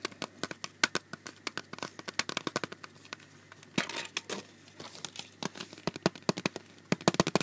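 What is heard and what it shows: Fingertips and nails tap and scratch across the hard surface of a clear plastic CD jewel case with a printed cover insert, held in the hand. Dozens of sharp, bright, short clicks are heard, with a brief, rougher scratching burst midway. The case sounds thin and hollow.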